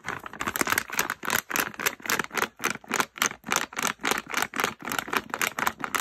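A full, printed plastic pouch with bath bombs inside is crinkled by hand, then folded and pressed flat against a stool. It gives a steady run of bright, rustling crinkle bursts in an uneven rhythm, each with a sharp crackle and almost no low end.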